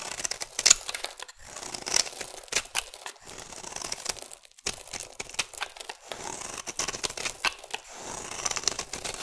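A metal blade scrapes and carves powdery shavings from the edge of a solid oval peach-colored bar of soap. The sound is a dry, crisp, bright scraping and crinkling made of many quick strokes with almost no low end, briefly pausing twice before continuing.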